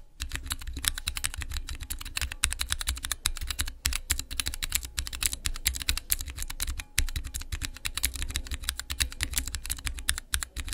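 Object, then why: Acrylic mechanical keyboard switch tester. Fingertips type rapidly on a small clear acrylic Cherry MX mechanical keyboard switch tester with transparent keycaps. A steady stream of sharp, bright clicks and clacks rides over a low thumpy body, with brief pauses near 3.8 and 6.9 seconds. Each keystroke dies away almost instantly.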